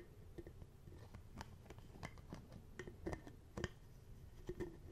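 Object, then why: Small plastic bottle with cap. A small, hollow, apparently empty clear plastic bottle with a black cap is held close to the mic while fingertips tap and handle its cap and lid. Soft, quiet, dry clicks and taps land in an irregular patter over a low, muffled handling rumble. Each tap dies away almost instantly.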